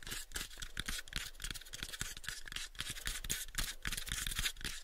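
Fingernails scratch and tap on the faces of a pale, unfinished, hollow wooden cube box. Quick, irregular taps land about three to four times per second, each a short, dry knock with a low thump and almost no ring. A bright, scratchy rasp runs between and over the taps.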